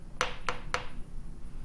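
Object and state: Solid metal jewellery pendant.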